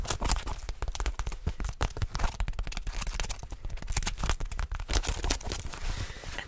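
Long fingernails scratch fast across the fabric and seams of dark blue denim jeans with a back pocket visible, held up close to a microphone. The result is a dense, continuous run of rough scratchy, crackling strokes with heavy low-end rumble and brief bright hiss.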